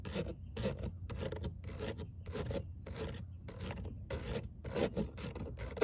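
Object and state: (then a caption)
Perforated metal speaker grille. Long acrylic nails scratch and rake across a perforated metal car door speaker grille, a thin cover with fine hexagonal mesh over a hollow cavity. Repeated raspy, filing-like strokes come in quick bursts, each a bright, gritty rasp over a hollow low body, with brief quiet gaps between strokes.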